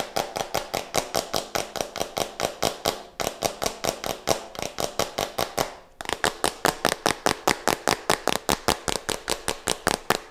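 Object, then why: Small plastic jar with screw cap. Nails and fingertips scratch, tap and twist the white plastic screw cap of a small plastic jar close to the mic. About 48 dry, bright clicks come in quick, uneven succession, with brief pauses near 3 and 6 seconds.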